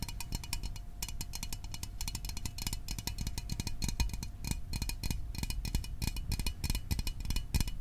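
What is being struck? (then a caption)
Small aluminium soda can. A small, hollow metal Fanta orange soda can is held in the hands and tapped quickly with fingertips and nails. The result is a dense, steady patter of short, dull thumps with bright clicky ticks on top, each tap dying away almost at once.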